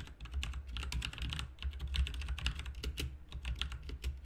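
Both hands type with their fingertips on a backlit RGB mechanical keyboard with plastic keycaps. The result is a rapid, steady stream of bright, clicky keystrokes over a constant low hum.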